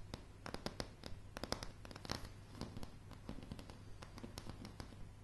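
Long dark-blue polished nails on both hands tap and scratch a light, solid wooden plank floor. The result is a quick, irregular run of sharp, dry clicks with short bright scratchy rasps between them, each hit dying away almost instantly. A steady low hum runs underneath throughout.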